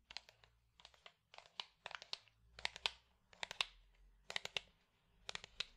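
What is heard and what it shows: A small, light-colored hollow wooden box is held in the hand and tapped with the fingertips. About twenty quiet, bright, very short taps land in quick irregular clusters, each dying out almost at once.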